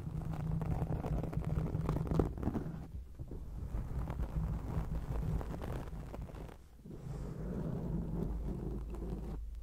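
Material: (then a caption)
Foam. Long acrylic nails scratch a black foam microphone windscreen, producing a continuous, dense, low rumbling scratch with almost no high content. The scraping runs steadily with fluctuating intensity, briefly dips near the middle, then resumes at a similar level.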